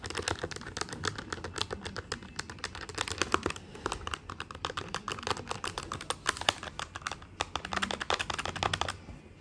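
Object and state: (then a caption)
Plastic desktop calculator keys being typed. Fingertips of both hands type rapidly on the plastic keys of a black plastic desktop calculator with a hollow body. The result is a dense, uneven stream of short, sharp clicks centred around 3 kHz, with a bright edge. Each click dies away almost instantly, and the tapping slows slightly near the end.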